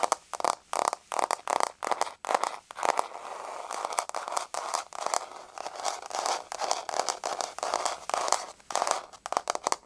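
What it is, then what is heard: Wood-look laminate floor. Long nails scratch and tap rapidly across a flat, solid wood-look laminate floor with a wood-grain surface. The result is dense bursts of dry, clicky taps and rasping scrapes centered in the midrange with bright edges, no low end, and no ring.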